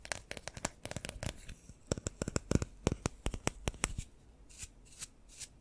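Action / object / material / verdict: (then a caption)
flick / paintbrush with synthetic bristles and wooden handle / synthetic bristles / none. Fingertips flick and rub the synthetic bristles of a long paintbrush with a pale wooden handle and metal ferrule, held close to the microphone. A rapid run of short, dry, bright flicking ticks fills the first four seconds, then gives way to a few softer, airy brushing swishes.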